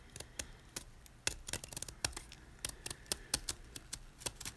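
A solid white gym chalk block of magnesium carbonate, held in the hand, is scraped along its top edge with a snap-off utility knife blade, making about twenty short, dry, bright crunching scrapes with almost no ring. Chalk flakes crumble off with each stroke.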